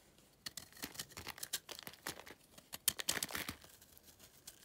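A yellow utility knife shaves crumbly layers off the edge of a dry, solid pale clay or chalk block. A quick series of short, dry, high-pitched scraping and crumbling bursts follows, bright and hissy with almost no low end. Each cut stops abruptly with no ring.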